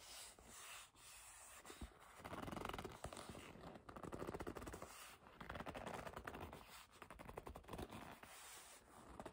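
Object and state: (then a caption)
Leather bag being scratched and rubbed. Long nails scratch, grip and rub a hollow black leather bag, making dense, irregular scratchy rasps and soft squeaky rubbing. The sound comes in quiet swells of scraping with brief pauses between them.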